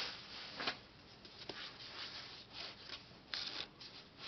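Fingertips and short nails rub, tap and scratch across the glossy printed front cover of a closed, large, solid hardcover book, "Pattern," which has a laminated paper cover. The sound is quiet, bright, dry scratching and rustling, with a few sharper short taps that stand out and die away almost immediately.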